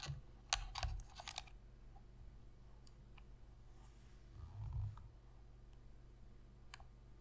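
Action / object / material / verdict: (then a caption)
tap / plastic game controller / plastic / none. Long pink fingernails press the buttons and tap the surface of a black, hollow plastic PS3 controller held in the hands. A quick cluster of sharp, bright plastic clicks comes early, followed by a few scattered light ticks over a low, steady hum.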